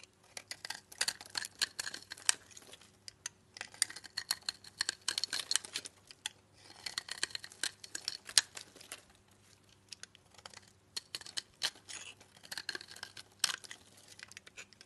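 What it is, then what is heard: Laundry bar soap scraped with a blade. A blade scrapes curled shavings off a solid brown laundry soap bar, producing bright, dry, crackly scraping in bursts of rapid clicks separated by short pauses. The sound is crisp and high with no low end and almost no ring after each scrape.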